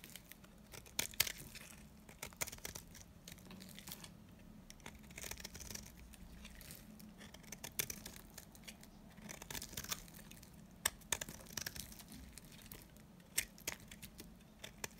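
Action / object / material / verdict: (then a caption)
scrape / soap bar cut with a knife blade / soap / none. A utility knife blade scrapes and cuts flakes from a solid, dry, old green soap bar held in the hand. It makes bright, crisp crackling and tearing sounds with sharp clicks scattered throughout, over a faint steady low hum.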